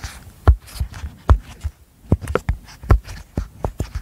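Long nails and fingertips press, pop and tap the hollow bubbles of a flat, rainbow apple-shaped silicone pop-it fidget toy held in front of a microphone. About 13 soft, irregular pops and taps sound as dull, low thuds with faint crisp clicks on top, each dying away almost instantly.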